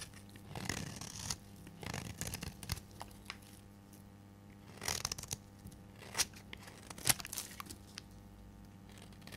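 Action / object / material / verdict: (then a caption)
scrape / bar soap shaved with a metal blade / soap / none. A solid orange-red bar of dry soap, held in the hand, is shaved with a metal blade into fine crumbly shavings. Short bursts of dry, bright scraping and crackling cutting sounds come and go over a faint steady low hum. The sharpest cuts fall near the end.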